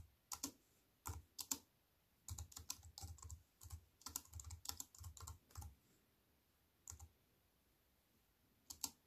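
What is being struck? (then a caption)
Plastic computer keyboard with metal frame. Fingertips with long white nails type on a compact plastic computer keyboard with black plastic keys set in a silver aluminium frame. Quick bursts of crisp, bright key clicks with soft low thumps come in short runs, separated by pauses. Each click stops almost instantly.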